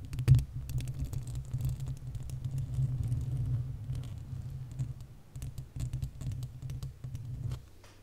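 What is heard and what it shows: Long acrylic nails scratch and tap the hollow, uncovered metal mesh grille of a large desktop condenser microphone. A dense, low, boomy rumble of scratching is dotted with quick, sharp tapping clicks that stop and start in bursts, with a brief pause around five seconds.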